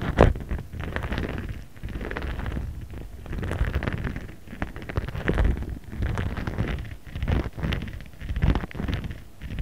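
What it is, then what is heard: Plastic pouch rubbed with a roller. A ridged jade roller head rolls and rubs over a flat, transparent plastic pouch with printed graphics while the other hand holds the pouch steady. The sound is a soft, rumbling crinkle and rustle that rises and falls in repeated strokes. It is dominated by low, muffled friction with faint brighter scratchy ticks.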